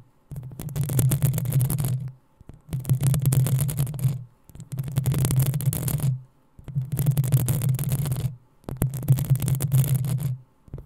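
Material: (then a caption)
Metal mesh. Long acrylic nails of both hands scratch the hollow, rounded metal mesh grille of a black USB condenser microphone. There are five dense bursts of rapid scraping, each lasting about one and a half to two seconds and separated by short silences. Each burst has a heavy low rumble around 130 Hz under a crackly, bright hiss.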